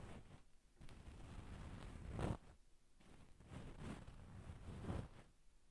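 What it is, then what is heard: Satin damask pillow being scratched. Long pink nails scratch a soft, stuffed dark brown and black satin damask cushion with both hands. The result is a continuous soft, zipper-like scratching rustle that swells into three louder strokes before trailing off.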